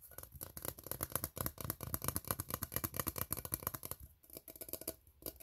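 An empty, open steel tin can with hollow, ribbed sides is held in both hands while fingertips and short nails tap and scratch along the ribs. The result is a quick, uneven patter of dull, hollow taps with a low body and bright, dry scratching on top, each sound dying almost at once. The activity eases into brief quieter gaps near the end.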